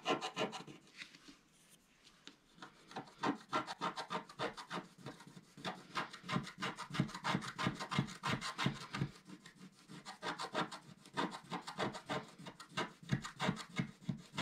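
A wooden stylus scratches along the top edge of a flat black coated scratch art paper sheet held with both hands. It makes quick, dry, uneven scratching strokes, about three per second, with a bright, raspy texture and no ring. A brief quieter pause comes near the start before the steady scraping resumes.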